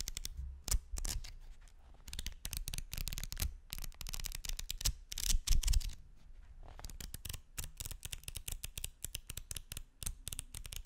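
Fingers with painted nails riffle and flap folded white paper sheets against each other, held beside the microphone. Rapid, crisp papery flutters and sharp snaps come in dense bursts with soft low thumps underneath, pausing briefly before the fast flapping resumes.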